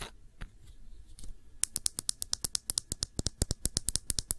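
A small, full glass nail polish bottle with a black cap is held in the fingers and tapped quickly with long nails. After about a second and a half of faint, soft handling, a rapid run of sharp, bright clicks begins. Each tap is crisp and high-pitched and dies away almost instantly.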